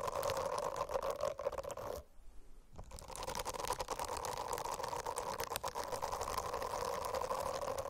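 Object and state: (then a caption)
Silicone bristle notebook cover. Long acrylic nails scratch across the dense small bristles of a rainbow-striped silicone notebook cover. The result is a steady, fizzy rasp with a humming midrange tone, broken by a brief near-silent pause around the two-second mark before the scratching resumes.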